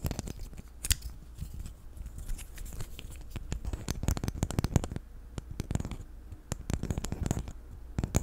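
A small, hand-sized black plastic infinity cube fidget toy made of solid hinged blocks is flipped and clicked with the fingers and tapped with fingernails. The result is a quick, irregular stream of sharp, dry plastic clicks and taps with bright, crisp edges and very short decay over a soft, low rumble.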